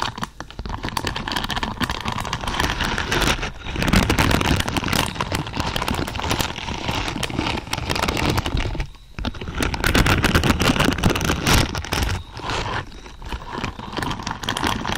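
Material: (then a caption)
Plastic. Long purple pointed nails scratch and brush through a large lavender pad densely covered in thin, flexible plastic or silicone pins. The result is a steady, dense, crackly rustle with a low rumbling body and a bright, hissy top, broken by brief quieter pauses near 3.5, 9 and 13 seconds.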